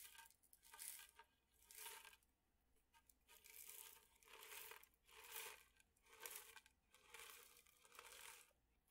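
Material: Metal.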